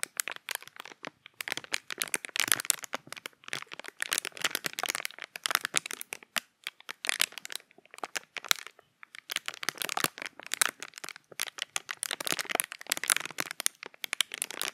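A small, empty, hollow piece of clear plastic packaging is held in both hands close to the microphone while fingertips crush and crinkle it. Dense, bright crackling and crinkling comes in bursts, broken by a few short pauses. The sound is sharp and dry, with no low end and no lingering ring.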